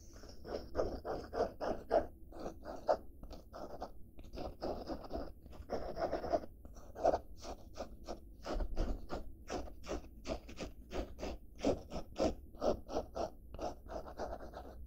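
Black-painted nails scratch the fabric surface of a padded blue denim bag held upright. The result is a quick, steady run of short, dry scraping strokes with a soft midrange rasp and a faint low rumble underneath.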